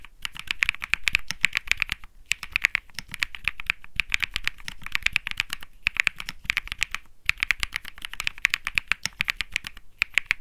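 A cream-white Think6.5 65% mechanical keyboard with Bsun Lollipop switches, light plastic keycaps and a small lit display sits on a felt desk mat while both hands type on it quickly. Fast, bright clacking keystrokes come in dense bursts with brief pauses, each stroke short and crisp, centered around 2.3 kHz, with a faint low thock underneath.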